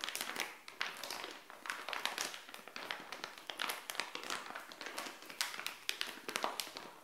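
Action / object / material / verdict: tap / thin printed plastic pouch / plastic / none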